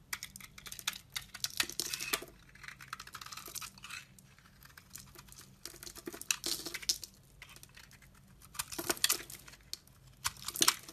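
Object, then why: Glycerin soap bar. A snap-off utility knife blade scrapes and shaves flakes off the surface of a solid, translucent, ridged orange glycerin soap bar held in hand. Quiet, bright, crisp scratching and crackling come in bursts of rapid short strokes that stop dead, with almost no low end. Between bursts there are brief pauses.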